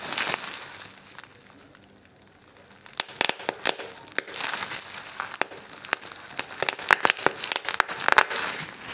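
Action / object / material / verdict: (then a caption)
shake / plastic bubble wrap / plastic / none. A small wad of clear plastic bubble wrap is crushed in the fist with a bright crinkling rustle, then pinched between both thumbs to pop the bubbles. After a quieter moment, a rapid, irregular string of sharp, dry pops and crackles follows over continued crinkling, each snap cutting off instantly.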